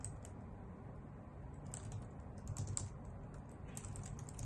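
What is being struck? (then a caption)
Plastic computer keyboard typed with nails. A white full-size plastic keyboard with hollow key caps is typed on with long nails and fingertips. The result is a steady run of quick, bright clicks and taps over a low, dull thump.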